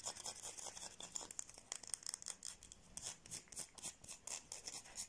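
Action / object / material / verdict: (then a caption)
scrape / bar of soap / soap / none. Long painted nails scratch a solid, palm-sized white oval bar of soap held close to the microphone. The scratches come as fast, dry, bright strokes with almost no low end or ring, some quick flicks and some longer drawn rasps, at a low, steady level.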